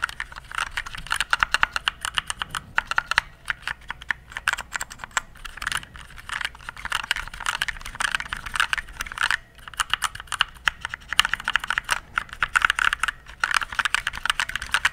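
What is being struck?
Plastic mechanical keyboard.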